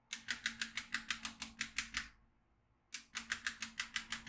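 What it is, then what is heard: Magnetic drawing pad with steel beads. A yellow magnetic pen is moved along the lines of a black plastic magnetic drawing tablet filled with steel beads, producing rapid, bright, dry bead clicks. About twelve quick clicks come first, then a brief silence, then about nine more, 21 in all, over a faint steady low hum.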